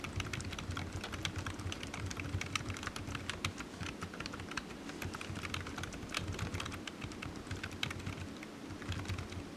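Fingertips type on a low-profile black plastic computer keyboard resting on a desk mat, its hollow keys tapping. A steady, rapid stream of short, sharp, bright clicks runs throughout over a low, constant rumble, with each tap dying away almost instantly.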